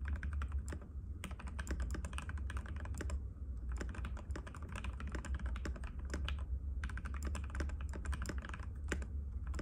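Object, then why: Plastic mechanical keyboard. Fingertips of both hands type continuously and rapidly on a compact cream-white mechanical keyboard with plastic keycaps and a hollow case, resting on a glass table. Dense, sharp clicky key taps come in quick bursts with brief pauses, over a steady low hum.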